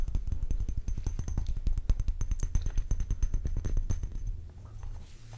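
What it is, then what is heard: Glass perfume bottle. Fingernails tap and scratch across the body of a clear faceted glass perfume bottle with a dark purple cap, a bow and a white flower label. A fast, uneven run of short, dry taps with a heavy low thud runs for about four seconds, over a faint steady high tone. It then fades into quieter scratching at the end.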